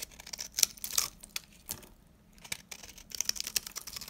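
A solid, dry, pale beige bar of soap held in the hand is cut and scraped with a metal knife blade, sending powdery crumbs falling. Short, bright, crisp scratching and crackling clicks come in quick irregular bursts with brief pauses between them, all high and dry with almost no low end and no ring.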